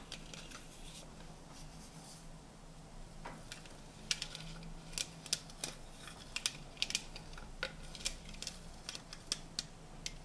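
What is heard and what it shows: A hollow stack of colorful printed tinplate tea tins is held in the hands while fingernails tap its metal sides. Quiet, bright, sharp clicks come in an irregular stream, each dying away almost at once over a faint steady low hum.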